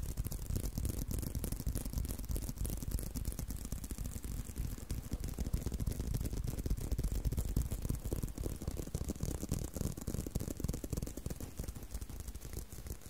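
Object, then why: Leather belt. Continuous tapping and scratching on a leather belt make a dense, rapid stream of soft, dull taps. The sound is mostly low and thuddy, with a faint bright hiss layered over it at a steady level throughout.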